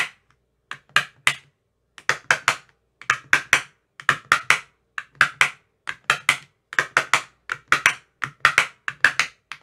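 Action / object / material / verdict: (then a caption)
tap / plastic ice cube tray with silicone cups tapped with a metal rod / plastic, silicone / none. A thin metal rod taps into the cells of an empty clear plastic ice cube tray with green silicone cell bottoms. About 33 short, dry, bright clicks and taps come in quick bursts and clusters, each dying away almost at once.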